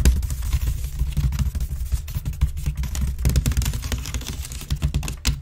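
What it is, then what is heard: Empty wicker basket bin. Long nails rapidly scratch the side weave of a grey woven wicker waste bin lying on its side, hollow and empty. The result is a dense, continuous run of quick, dry, crackling scratches over a deep, hollow low rumble from the bin's body, with bright ticks flickering on top.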